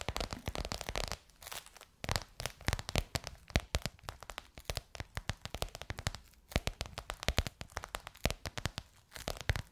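Long nails tap and scratch a bronze-gold crocodile-embossed faux leather cover stretched over a curved hollow form. Quick, dry, crackly taps fall in dense bursts with brief pauses, mixed with rough scratching over the textured surface. Each tap stops almost instantly, carrying a soft hollow low thump under a bright, crisp click.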